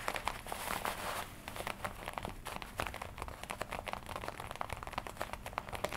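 Fingernails and fingertips tap and scratch the black leather chest panel of a worn red-and-black smooth leather jacket with D-rings. A dense, bright crinkling scrape in the first second gives way to a quick, uneven run of soft, dry taps with short scratchy rustles between them.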